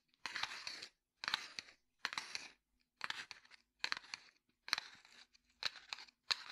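Fingertips and nails tap and scratch a small, closed cardboard matchbox with a red striker side that still holds matches. The sound comes in eight short, separate bursts of dry, bright, crunchy scratching and tapping, with silence between them. It is quiet, has almost no low end, and each burst stops with no ring.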